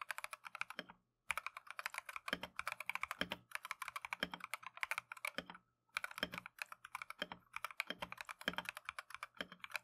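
Gloved fingertips type continuously on a Keychron V1 plastic mechanical keyboard with Tangerine switches and green/cream Matcha PBT keycaps. The rapid, crisp, bright keystroke clicks come in quick bursts, broken by two brief pauses, and each tap dies away almost instantly.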